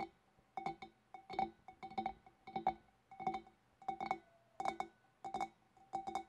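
Long dark nails from both hands tap the upper shoulders beside the rim of a large, empty, clear glass fish bowl. The hollow bowl answers with quick clusters of light, bright clinks that share a steady ringing tone near 760 Hz. Each tap fades fast into quiet pauses between bursts.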